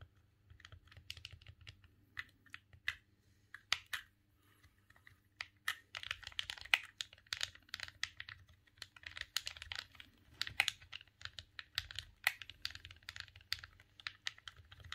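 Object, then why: Plastic game controller. A silver, hollow plastic GameCube controller is held in both hands while the thumbs rapidly press the face buttons and the D-pad. Dense, irregular bursts of quick, bright plastic clicks and taps die away instantly. A faint low hum sits underneath.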